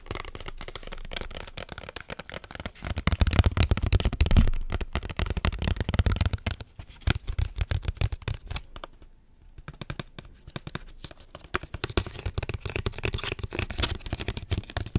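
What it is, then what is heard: Foil drink pouch tapped and scratched. Long acrylic nails rapidly tap and scratch the printed front of a small Capri Sun juice pouch, made of foil laminate, with its straw inserted and apparently full. The result is dense, irregular, crinkly clicking over a soft, low, thuddy body, with a brief quieter lull midway before the fast tapping picks back up.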